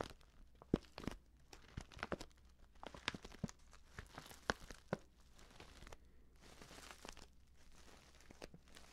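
A filled, orange-printed stand-up paper tea pouch is squeezed and tapped by fingertips with painted nails. Quiet, dry crinkles and crunches mix with many short, sharp taps and light tearing-like rustles, some reaching bright highs, over a low steady hum.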